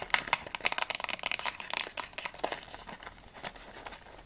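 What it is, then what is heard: Cardboard candy box. A small, hollow, closed printed cardboard Ahoj-Brause candy box is turned in the hands while long nails tap and scratch its back panel and edges. Quick, bright, dry clicks and crinkly scratching come in a dense flurry at first, then thin into softer, scattered taps.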